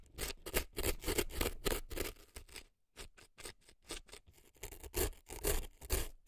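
A thin dark earpick scrapes crumbly dry floral foam packed into the canal of a right silicone elf ear. The result is a run of dry, crunchy scratches with a bright crackle that stop and start irregularly, each dying away almost at once, with a short pause near the middle.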